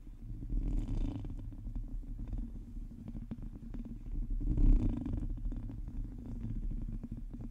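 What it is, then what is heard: Metal mesh microphone grille being scratched. Long teal acrylic nails on the fingertips of both hands scratch the hollow domed metal mesh grille of a large black USB condenser microphone, the only object touched. The result is a dense, low, rumbling scratch, almost purr-like, peppered with fine crackling ticks. It swells louder around the first second and again near the fifth.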